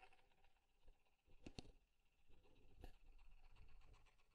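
Fingernails and fingertips tap and scratch along the curved wooden side and front of a small, square, light-wood desk alarm clock with a solid body, held close to the mic. Soft, dull taps stand out over a quiet, low, rustling scratch. The sound stays faint and muffled, with a few sharper clicks.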